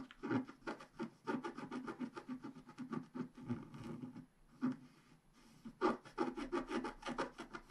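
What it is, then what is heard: Scratch-art paper being scraped. A wooden stylus scrapes away the black coating of a flat scratch-art page in short strokes, revealing the colored layer of a unicorn picture while one hand holds the page down. Dry, soft rasping scratches come in quick bursts with brief pauses between them, their texture sitting mostly in the low mids with little bright edge.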